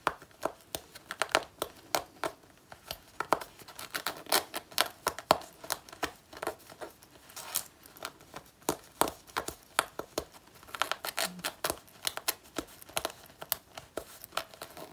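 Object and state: Faux leather jacket being scratched.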